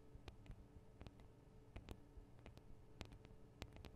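Long acrylic nails of both hands tap the small hollow metal microphone capsules on a Tascam DR-40 recorder. The result is a quiet, irregular series of quick, dry ticks with bright clicky edges and almost no ring, over a low, steady hum.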